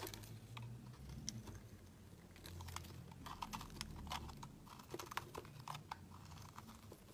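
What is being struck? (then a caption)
Bar of soap. A solid, opaque pink oval soap bar is held in the hand and carved and scraped with a metal utility knife blade, shaving off flakes. Dense, crisp clicking and scratching strokes ring out over a low hum, each one short and dry.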